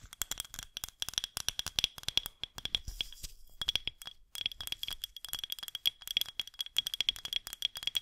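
Long green acrylic nails tap and scratch a medium white-painted glass mason-style jar vase with a threaded neck and a jute band, holding artificial flowers, held in both hands over the mic. It makes a rapid, bright stream of crisp, hollow clicks that die away almost instantly, with a faint steady ring near 3.3 kHz. Around the middle, the taps briefly give way to a softer scratching passage.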